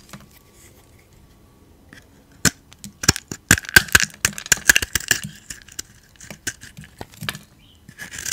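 A hand-sized solid bar of cream soap with a lilac/blue coating and a raised dot pattern is held in one hand and scraped and carved with a metal utility blade. After a quiet start, a run of sharp, dry crunches and scrapes follows, bright and crackly with a faint squeak near 1.5 kHz. The bursts come in quick clusters and stop short with almost no ring.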